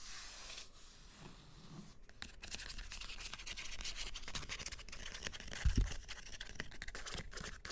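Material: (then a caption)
Paper, cloth. Short green-painted nails scratch and rub across the spines of a solid stack of hardcover books with paper dust jackets and cloth-bound spines, resting on glittery fabric. The result is a dry, bright, continuous scratchy rasp over a low rumble, with a brief louder bump near the end.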